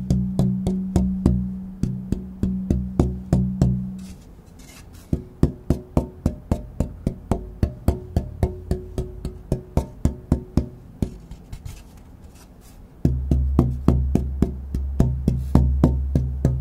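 A thin, pale spruce guitar soundboard plate, compared as German spruce versus Sitka spruce tonewood, is held up by its top edge and tapped with fingertips or a knuckle to hear its ring. Quick runs of dull, woody knocks come in three bursts separated by short pauses, each tap carrying a low, hollow tone around 140 Hz. The tones die away almost at once, with little bright content.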